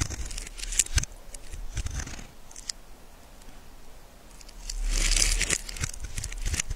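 A small metal blade shaves and scrapes the face and edge of a solid, cream-colored bar of soap held in the hand, cutting off dry, crumbly shavings. Quick, uneven scraping strokes give crisp, bright crackles with a faint low rumble underneath. The scraping swells into a louder, sustained rasp near the end before settling back into lighter strokes.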